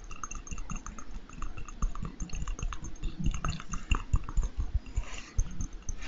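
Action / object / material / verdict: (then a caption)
tap / small glass jar / glass / none. A small, hollow, clear glass jar or candle holder, apparently empty, is held in the hands close to the microphone and tapped and scratched with fingertips and nails. A rapid, uneven stream of soft, dull taps with heavy low-end thumps is heard, each hit dying away almost instantly. Faint glassy tones and bright scratching sit on top of the taps.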